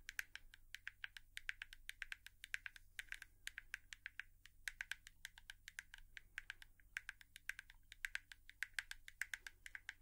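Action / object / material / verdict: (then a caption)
tap / plastic hairbrush / plastic / none. A hairbrush is tapped with long nails in quick, uneven bursts of dry, bright clicks that stop almost instantly, with short pauses between runs. The taps are quiet and crisp over a faint steady low hum.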